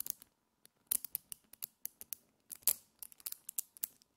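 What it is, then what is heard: Small magnetic metal balls clicking together. Fingers with long nails pull a handful of small multicolored solid metal magnetic spheres into a chain and snap them back into a clump. About twenty quick, bright, dry clicks sound in irregular bursts, each dying away almost instantly, with a few louder snaps among softer taps.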